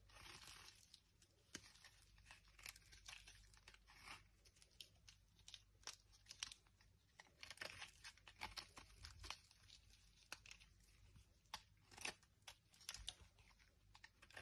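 A dry, solid blue striped oval Dettol bar soap, held in the hand, is carved and scraped with a metal knife into crisp flakes. The quiet, bright sound is a steady run of dry scraping and crunching with frequent short, sharp snaps that die away almost instantly.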